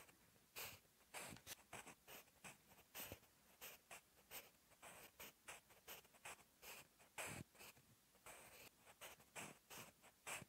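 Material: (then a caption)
Paper. A sharpened wooden graphite pencil, held in the fingertips, writes Korean text on a lined paper notebook page. Its tip scratches across the paper in quick, bright strokes, about twenty short bursts in a steady rhythm with soft gaps between them. The scratches are dry and high, with almost no low end.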